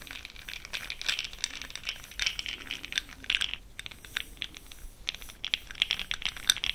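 A fluffy makeup brush stirs an open, small clear plastic jar full of pastel cosmetic powder pearls held in the hand. The pearls rattle in a steady stream of bright, dry, quick clicks and crinkly ticks with almost no low end. The clicks come in uneven bursts throughout the clip.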